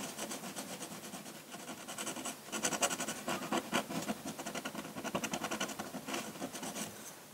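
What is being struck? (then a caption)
Drawing paper under a metal pen nib. A metal dip-pen nib draws ink lines on a large, flat sheet of white drawing paper. Dry, bright scratching strokes come in quick, uneven bursts, growing louder and denser near the middle before easing off toward the end.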